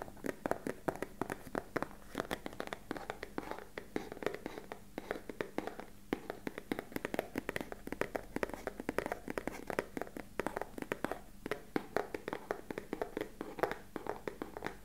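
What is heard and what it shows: Fingertips and short nails tap rapidly and steadily on a small, hollow, beige rectangular cardboard box held upright. The result is a continuous stream of short, dry, hollow knocks with a midrange body around 300 Hz and almost no ring, mixed with light scratchy nail clicks over a faint low hum.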